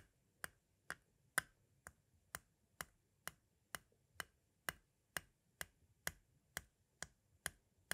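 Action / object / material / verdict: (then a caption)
tap / hard plastic cassette shell / plastic / none. A pointed tool taps the face of a small, hollow, white hard-plastic audio cassette shell near its window, making 17 sharp, dry clicks at a steady pace of about two per second. Each click is brief and bright, with a hollow plastic tone centered near 1.5 kHz and almost no ring, over a quiet, soft background.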